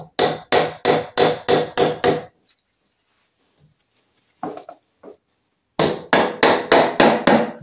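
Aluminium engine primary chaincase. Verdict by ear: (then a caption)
Loose. An aluminium primary chaincase on a Norton Commando engine is given light taps to break its gasket seal, giving a hollow, plunking knock in two bursts of about seven quick, regular taps with a quiet gap and a few faint knocks between them. The plunking sound shows the case is breaking loose, and it then comes off over its locating dowels.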